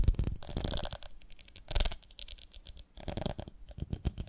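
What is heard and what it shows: Long nails tap and scratch across the ridges of a medium, ribbed, beehive-shaped glass jar with a lid, full of honey. The clip holds quick, dense tapping with low, dull thumps and bursts of bright, raspy scratching that fade and return. The taps are short and do not ring.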